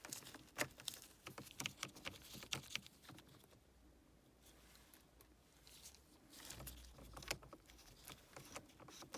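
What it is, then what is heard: Plastic car air freshener. Gloved fingernails tap and scratch a small, pink-printed, hollow plastic vent air freshener with liquid inside, held near a car's dashboard vents. Quick, bright, dry clicks come in rapid bursts, easing into a softer, scratchy stretch in the middle before the tapping picks up again.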